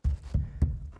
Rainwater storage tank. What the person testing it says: if i bang on it you can kind of hear that solid